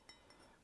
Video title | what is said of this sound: Cups & Mugs ASMR - Tapping - Clinking [Soft-spoken/whispering] | you can tell the difference in terms of its sound when i'm tapping it with my nails